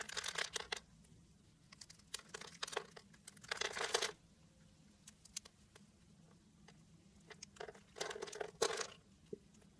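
A blade and fingers cut and flake small diamond cubes off a solid pink rectangular soap bar with a crosshatch-scored surface. Bright, crisp bursts of crumbling and crackling come in clusters, separated by quieter stretches of light ticks and taps.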